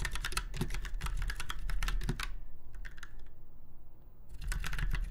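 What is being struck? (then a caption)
Mechanical keyboard. Fingertips of both hands type on a typewriter-style mechanical keyboard with round white keycaps set in chrome-look rings on a silver frame. A fast run of crisp, bright key clicks slows to a few scattered taps midway, then picks back up. A steady low hum sits beneath it all.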